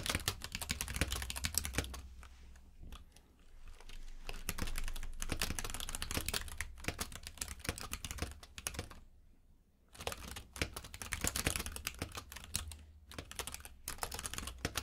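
A compact mechanical keyboard with plastic keycaps in a grey frame, lying on a purple rug, is typed on with the fingertips of both hands. Rapid, irregular bright clicky key taps run throughout over a steady low rumble, with a brief quiet pause around the nine-second mark before the typing resumes.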